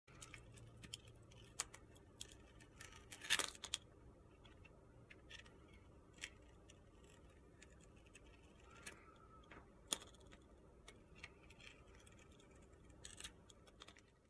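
A hand-held rectangular solid bar of soap with a purple glitter coating and a white interior is shaved and scraped with a metal utility knife blade. The result is quiet, crunchy, gritty carving made of sharp, bright scrapes and clicks over a low hiss, with a louder cluster of cuts near the start and another in the middle.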